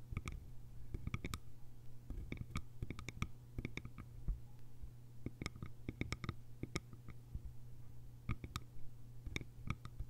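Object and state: Bamboo lidded container.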